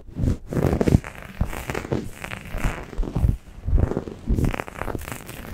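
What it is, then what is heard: Microfiber towel scratched over a microphone. A grey microfiber towel draped over a Blue Yeti microphone is gripped and scratched with long painted nails, at fast and slow paces. The result is muffled, crackling scratches and scrunches, heavy in low rumble, rising and falling in bursts with little high end.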